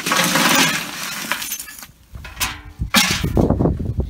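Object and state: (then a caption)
Fully charred wood biochar. Pieces from a first batch of homemade wood biochar are broken and handled after opening the kiln. A dense crackling rustle gives way to sharp, glassy clinks and snaps. The glass-like clink shows the charcoal is fully charred rather than crumbling like unfinished material, so the batch is a success.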